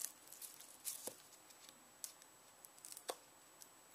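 Fingertips and nails pull and tear the dry brown skin away from the flesh of a solid, whole yellow onion. The result is quiet, bright, papery crackling and crinkling in short, irregular bursts with sharp snaps and almost no low end.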